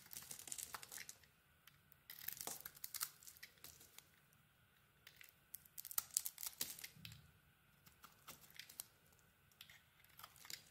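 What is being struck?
Soap bar.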